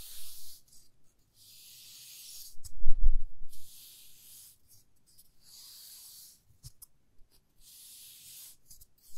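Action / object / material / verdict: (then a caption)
scrape / wooden ruler / wood / none. Long fingernails scratch and rub along the top face of a 30 cm solid light wooden ruler. It makes repeated bursts of bright, airy scraping hiss separated by short pauses. Around the third second there is a louder, low rumbling handling sound.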